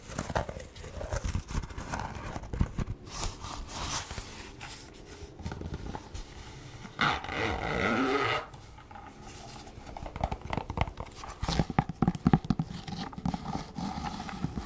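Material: Leather.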